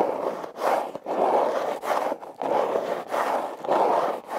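Long nails scratch and fingers grip and rub the ridges of a hollow, red heart-shaped corrugated cardboard box. Eight raspy, midrange scraping strokes come one after another, split by brief quiet gaps, with almost no low end.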